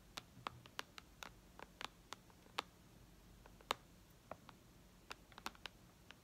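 Long red nails tap on the glass touchscreen of a white iPad lying flat. About 19 short, sharp clicks come at an uneven pace over a quiet background. Each tick is bright and dies away almost instantly.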